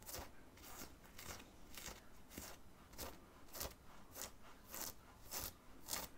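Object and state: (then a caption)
Cotton t-shirt being scratched. Fingertips and nails scratch in short strokes across the printed area of a black cotton graphic t-shirt, worn under an open black zip hoodie over the chest. Soft, dry, bright scratching bursts repeat at a steady, unhurried rhythm of roughly one every half second, over a quiet, low background hush.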